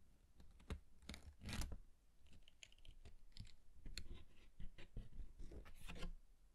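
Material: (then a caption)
Paper. A red cardstock card is opened by hand to reveal a yellow paper pop-up guitar, and fingertips handle, fold and rub the paper. Soft crinkles, scratchy rustles and light taps come in quiet bursts over a low, dull thump, with brief bright edges as the paper is worked.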